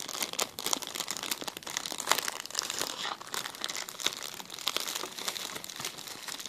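A clear, empty plastic zip-lock bag is held and crinkled between the fingers close to the camera. Dense, bright crackles and crinkles come in quick bursts with sharp little peaks and almost no low end, running continuously for the whole clip.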